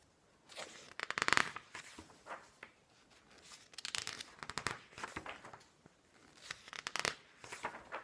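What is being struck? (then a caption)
Glossy paper magazine pages. Fingertips turn and brush the thin pages of a large, open glossy paper magazine lying on a wooden table. Crisp, bright paper flipping and rustling comes in three quiet bursts of quick crackles, with almost no low end.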